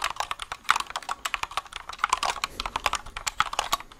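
A compact white mechanical keyboard with a plastic case and plastic keycaps is held up close and typed and tapped with the fingertips. It gives a quick, uneven run of sharp, bright, clacky key clicks with almost no low end, each snapping off instantly.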